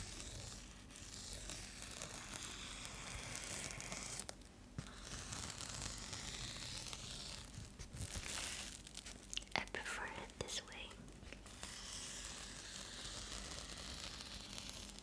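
A metallic foil bubble insulated mailer is scratched with fingertips and nails while held up. It gives a quiet, continuous bright crinkling and scratching texture, with brief dips and a few sharper crackles partway through.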